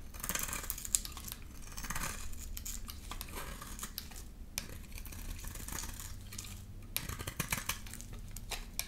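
A solid rectangular brown bar of soap painted magenta is held in the hand and shaved with a utility knife blade. Steady, bright scraping and cutting rasps run throughout, with sharp little clicks over a low background hum.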